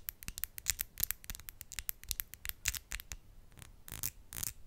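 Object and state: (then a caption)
Acrylic nails tapped nail on nail. Long, decorated acrylic press-on nails, small hard hollow shells on the fingertips, are tapped and clicked against each other, nail on nail, close in front of the microphone. A quick run of sharp, bright, dry clicks rings almost not at all. Toward the end, the clicks blur into a few denser scratchy rasps.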